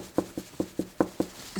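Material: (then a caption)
Drywall. Six evenly spaced knocks on drywall at a spot over a wood stud, with a seventh starting as the clip ends. Each knock is a short, dull thud centered in the low-mids that dies away almost at once with no ring, which marks the solid stud behind the wall.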